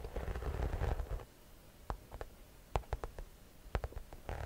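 A medium-size, hollow cream shoulder bag in croc-embossed leather or faux leather is held up and scratched across its front with long nails. It opens with about a second of dense, low, rumbling scratching, then gives way to a series of short, dry scrapes and taps separated by quiet gaps.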